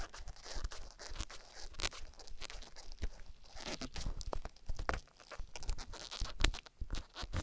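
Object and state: Silicone rubber ear scratched with a wooden stick.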